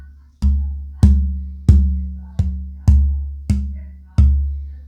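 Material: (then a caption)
Spruce wood. A torrified old-growth AA Adirondack spruce acoustic guitar top plate is held up and tapped seven times for a tap tone test. Each tap gives a deep, low thud around 70 Hz that rings and fades before the next. The torrified top rings out a little more than the non-torrified old-growth piece.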